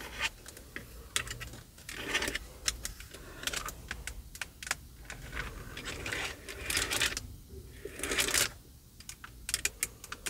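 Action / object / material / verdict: tap / plastic steering wheel airbag cover / plastic / none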